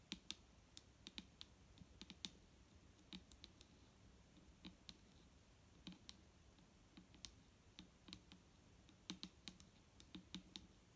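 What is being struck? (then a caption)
Full plastic bottle. A large, clear, liquid-filled plastic micellar water bottle with a green cap, lying on a wooden table, is tapped with the long nails of both hands. Quiet, crisp, irregular clicks with a bright, high edge and a faint low body die away almost instantly, some landing in quick flurries.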